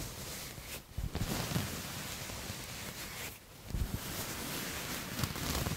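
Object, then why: Textured knit fabric. A soft grey knit fabric with a dotted, waffle-like texture is bunched in one hand and scratched with the fingertips and nails of the other, right next to the microphone. A steady, dense scratchy rustle fills the clip, with heavier, low, muffled brushing bursts near the one- and four-second marks.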